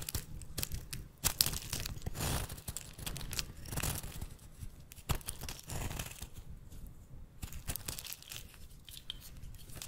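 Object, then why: Bar of soap cut with a metal blade. A metal blade shaves brittle chunks off a rancid, solid golden-brown bar of soap with an embossed logo, held in the hand. Dense, crackly scraping and crunching with quick bright snaps runs throughout over a low rumbling undertone.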